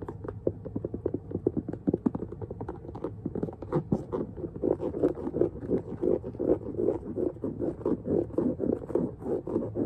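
Fingertips and nails tap and scratch quickly around the side and lace area of an empty, hollow low-top two-tone leather sneaker with a rubber sole, held up in the air. A dense run of short, dry, hollow taps with a low-mid body is heard, mixed with scratchy rubs. The taps stay fast and busy throughout and get fuller in the second half.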